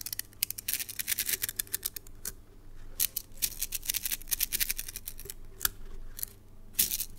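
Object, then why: Plastic coil spring toy. A palm-sized red translucent plastic coil spring toy is passed between fingertips and shaken, so its coils clack together in rapid bursts of short, dry, bright clicks. The clicks come in dense clusters with brief quieter gaps, over a faint steady low hum.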